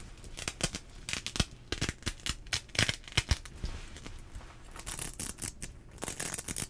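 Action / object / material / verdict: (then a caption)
scrape / nylon rain jacket sleeve cuff / nylon / none. Fingertips and nails rub, pinch and scratch the fabric and strap of a teal nylon rain jacket sleeve cuff, worn on the arm, close to the microphone. Sharp, bright crinkles and scratches pop out over a soft, continuous rustle. A denser, hissier swish of fabric builds toward the end.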